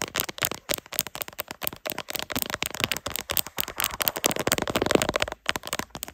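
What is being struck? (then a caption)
Ribbed plastic phone case tapped and scratched with nails. Long acrylic nails, using both hands, scratch and tap the ridged back of a smartphone in a black plastic case with a ribbed carbon-fiber texture, mounted on a tripod. About thirty fast, bright, crackly taps and scratches follow one another with very short decays and little low end, with a brief pause near the end.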